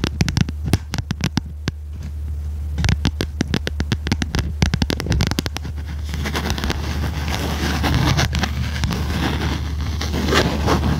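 A small red notebook with a cardboard cover and metal spiral binding is tilted in the hands while long red nails tap its cover. Quick, dry, separate taps come first, then thicken into a dense, scratchy patter. A steady low hum runs underneath throughout.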